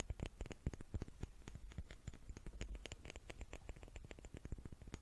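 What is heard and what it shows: Small wooden cubes are tapped with the fingertips in a quick, uneven patter of quiet, dry taps over five seconds. Each tap is a short, low thud with a faint bright click on top and almost no ring.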